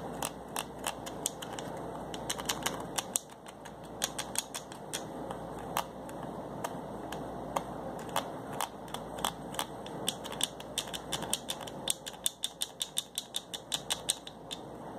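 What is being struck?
Small plastic tube with screw cap.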